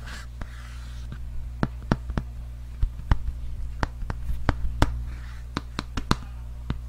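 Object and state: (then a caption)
Hardcover book tapped and scratched. A large, solid red hardcover book with a cardboard cover is held upright and tapped and scratched with fingertips and nails. Sharp, dry taps with very short ring land at uneven intervals, with soft brushy scratching between them. A steady low hum sits underneath throughout.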